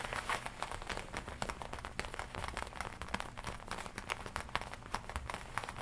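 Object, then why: Leather biker jacket. Long nails tap and scratch the black leather chest and lapel of a worn black and red leather biker jacket, a black leather studded jacket. A steady run of quick, dry taps and crinkly scrapes sits over a low, soft rumble, with each tap dying away almost at once.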